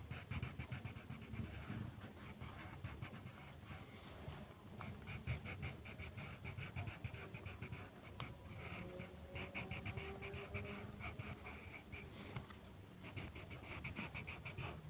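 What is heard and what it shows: The tip of a purple colored pencil rubs across a flat white paper mandala coloring sheet on a table in repeated coloring strokes. It makes a steady, quiet, scratchy rustle with a soft low rumble underneath and bright bursts of scraping as the strokes speed up.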